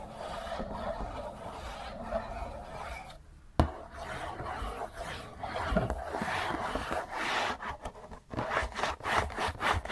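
Fingers rub and scratch fast on the printed cardboard side panel of a hollow Kleenex tissue box. The result is a dry, continuous rasping scrape, broken by a short pause and a sharp click, then rougher, bursting strokes toward the end.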